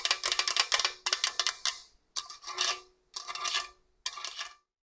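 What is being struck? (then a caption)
Stainless steel box grater. Long orange nails rub and scratch along the blade slots on the slicer face of a hollow stainless steel TalleR box grater. Five bursts of rapid, bright, rasping scratches are heard, with a faint hollow metallic tone underneath and brief silences between bursts.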